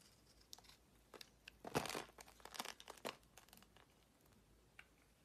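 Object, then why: Bar of soap. A utility-knife blade scrapes curls off the surface of a solid purple marbled soap bar held in hand, with shavings around it. Crisp, crinkly scraping strokes come in quick bursts, with the loudest bright scrape near the middle and softer scratches trailing off toward the end.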